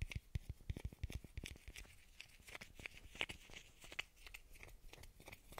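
A small hollow blue plastic bottle cap is held in the fingers and tapped and scratched with the nails. A quick run of sharp, dry taps with low thumps gives way to a softer, bright scratching rasp with a ticking edge around 2.8 kHz. Each tap dies away at once with no ring.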